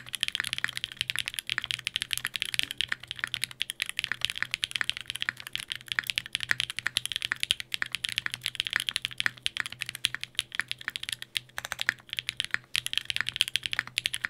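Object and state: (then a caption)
Mechanical keyboard with plastic keycaps and aluminium plate. Fingertips type rapidly on a Sangeo 60, a 60% mechanical keyboard in a white case with Durock POM switches, an aluminium plate and blue and grey GMK ABS plastic keycaps. A dense, continuous stream of short, bright plastic clacks fills the clip, each tap dying out almost instantly, over a faint low steady hum.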